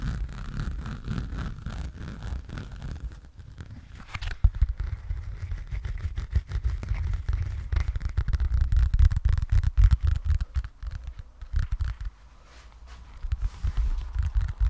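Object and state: Foam sponge in plastic wrapper.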